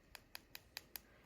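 Five quick, light taps on a hardened dip powder acrylic coating on a fingernail give short, hollow-sounding high clicks with almost no ring. The hollow sound shows the powder has hardened and is ready for filing and buffing.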